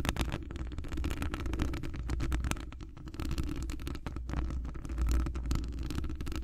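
Long acrylic nails on both hands scratch and tap a hollow metal wire-mesh microphone grille. A dense stream of rapid, short scratches and clicks rides over a deep, rumbling low-end thump that swells and fades throughout.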